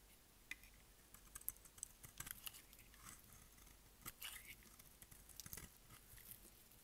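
A utility blade shaves curls off a hand-sized, solid, oval green Dalan dry bar soap held in the palm. A quiet series of dry, crisp, bright scraping clicks and short crackles follows, each cut stopping dead with no ring.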